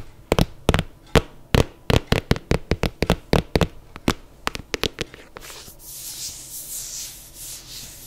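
Long nails tap rapidly on an empty black suede sneaker with a white rubber sole, held sideways, making a quick series of sharp, dry clicks. After about five seconds, the nails switch to scratching and rubbing the suede, giving a soft, continuous, hissy brushing texture.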